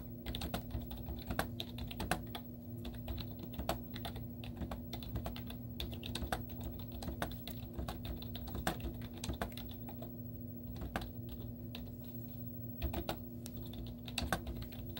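Long teal-painted nails and fingertips type rapidly on a white plastic laptop keyboard with cartoon stickers on its hollow keys. The result is a continuous stream of quick, short, light clicks and clacks with very little ring, over a steady low hum.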